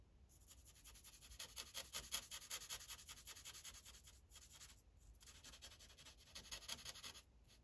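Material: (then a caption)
Paper. The felt tip of a grey Sharpie marker rubs across a thin paper coloring page on a clipboard in quick, steady coloring strokes. It makes a soft, bright, scratchy hiss that pulses with each back-and-forth stroke. The strokes pause briefly near the middle, resume, and then fade out at the end.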